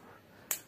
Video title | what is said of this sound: rieview isi elco jumbo asli atau aspal | bergeser keatas bunyinya jadi nyaring